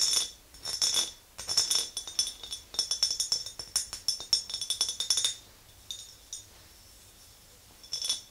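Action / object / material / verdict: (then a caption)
tap / glass mason jar / glass / none. Long green nails tap the sides and rim of an empty clear glass mason jar with a handle, producing rapid, bright clinks with almost no low end. The taps come in quick, uneven bursts, go quiet for a stretch, then return in a brief final flurry, each click dying away almost instantly.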